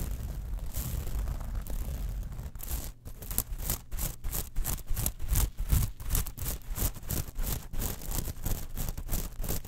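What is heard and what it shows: Long nails scratch and tap across the surface of a small textured metal mesh clutch wallet. The result is a quick, uneven run of bright, raspy scratching bursts with short crisp ticks over a steady low rumble.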